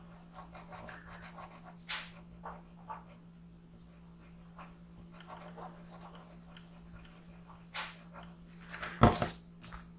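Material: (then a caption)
Paper. A yellow colored pencil makes light rubbing strokes across a thin printed paper sheet that is rotated on a gray board. Soft, scratchy pencil texture runs over a steady low hum. A few louder, brighter scrapes stand out, the sharpest near the end.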